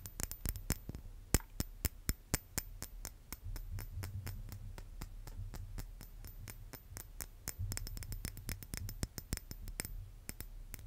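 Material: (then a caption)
Plated brass. A small, hollow, chrome silver-plated metal brass-instrument mouthpiece is held in the fingers and scratched and tapped with fingernails. Sharp, bright clicks and ticks come in quick, uneven succession, each dying away almost instantly. A steady low hum sits underneath throughout.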